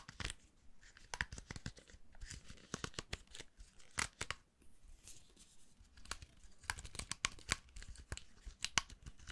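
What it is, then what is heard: Round hair brush with plastic bristles. Fingertips flick and scratch through the black plastic bristles of a hand-held round styling brush, with a hollow, vented metal barrel and a black handle. The result is a quick, uneven series of crisp, dry, raspy clicks and short scratchy bursts with a bright, tearing-like quality and almost no ring.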